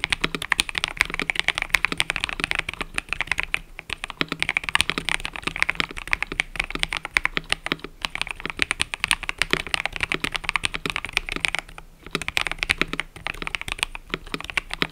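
Fingertips type continuously on a cream and purple mechanical keyboard with plastic keycaps, producing a steady stream of bright, sharp key clicks concentrated around 2 kHz with very little low end. Each click dies away almost instantly, and the flow of keystrokes briefly thins out around 4, 8 and 12 seconds.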